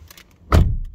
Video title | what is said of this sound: Skoda Octavia mk 4 petrol hybrid 1.4 review .....Scotland....2023..... | Give you a sound quality of what it sounds like. Sounds solid, it is.